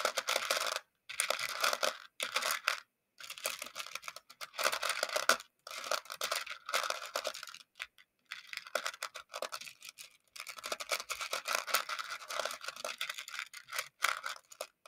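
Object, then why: Small plastic beads in a shallow plastic dish. A makeup brush handle stirs and scratches through a shallow round clear plastic container full of small colorful plastic pony beads. It makes dense, bright clicking and rattling in bursts, broken by short silences. The bead clatter stays light, with almost no low end.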